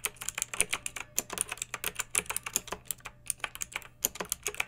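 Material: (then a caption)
Plastic. Long nails and fingertips of both hands type on a pink backlit plastic mechanical keyboard with round typewriter-style plastic keycaps, resting on a fluffy rug. A steady, uneven run of sharp, bright clicks and clacks is heard, each dying away almost instantly with very little low end.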